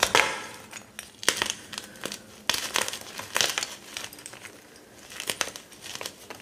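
A solid, dry block of white gym chalk (magnesium carbonate), broken into shards and powder on a dark counter, is crushed and squeezed in the fingers. Bright, dry crunching and crumbling bursts come in uneven clusters, with fine crackles between them and almost no low end.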